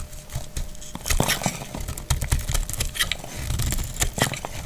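A palm-sized, solid, translucent green glycerin soap bar held in the hand is shaved with a utility knife blade, and curled shavings fall away. Short, dry scraping and crinkling strokes follow one another quickly, each with a crisp, bright crackle over a soft low thud and almost no ring.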